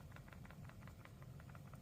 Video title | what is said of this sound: SPIGEN VS BENKS (ENZO ARAMID VS ARMOR PRO) | you can hear that it does shake ever so slightly